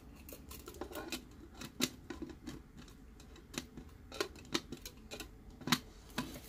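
Fingertips tap and rub the body and domed lid of a clear plastic Disney tumbler with a straw, held in both hands; the tumbler is hollow and empty apart from figurines inside its wall. Short, dry plastic taps with bright clicks and a light low-mid body die away almost at once, separated by soft rubbing scrapes.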